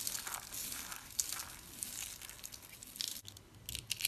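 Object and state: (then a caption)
Dry soap curls being crushed. Hands with long pink nails crush and crumble dry teal-green soap curls and shavings, small hollow-rolled solid pieces, between palms and fingers. A dense run of bright, dry crinkling crunches and small crackles follows, with a few sharper snaps near the end.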